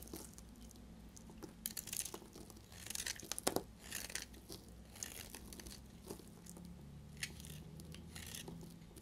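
A utility blade cuts and shaves a narrow remaining piece of a solid, dried pink-yellow bar soap held in the hand. Dry, crisp scraping and crunching strokes come in bright bursts over a faint low hum.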